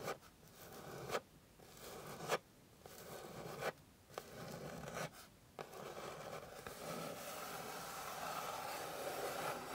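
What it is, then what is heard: Wooden board being scratched. Long pink nails scratch across the surface of a flat, solid, light wooden board. Each dry, rasping stroke builds in loudness, then cuts off abruptly with a sharp edge before the next. The strokes run close together and turn into a steady, continuous scrape toward the end.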